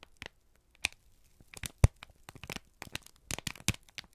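A single thin, crumpled sheet of brown kraft paper is held in both hands and squeezed and crinkled with the fingertips and thumbs. It makes irregular bursts of dry, sharp crackling and crinkling, with quick bright snaps that die away almost at once, separated by short quiet gaps.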